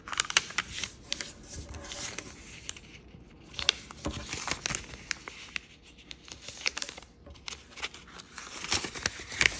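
A thin koi-printed origami paper sheet is handled, folded and creased by fingertips on a wooden table. Bright, crisp crinkles and sharp little snaps of the paper come in quick, uneven bursts with soft rustling between them, and almost no low end.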